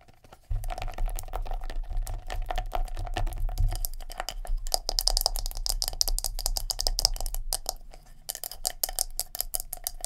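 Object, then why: Plastic scalp massager with silicone bristles. Long nails rapidly tap and scratch a palm-sized black plastic scalp massager brush, working over its hard plastic body and its silicone bristles. Dense, bright clicks and scratchy rasps run nearly continuously over a steady low rumble that starts just after the opening half second, thinning slightly near the end.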